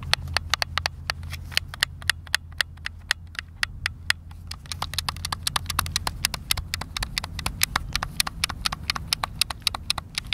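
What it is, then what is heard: Plastic game controller buttons clicking. Thumbs rapidly tap and click the buttons of a white, hand-sized, hollow plastic Xbox controller. The result is a fast, irregular stream of sharp, dry clicks that are bright and stop almost instantly. A steady low hum runs underneath.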